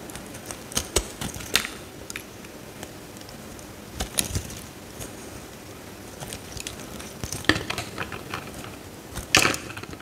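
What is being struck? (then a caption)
Soap bar scraped by a metal blade. A metal utility knife blade scrapes slices off a solid pale green bar of soap held over a glass dish. Short, bright, crisp scraping crackles come in scattered bursts over a low, steady background hiss, with the loudest burst near the end.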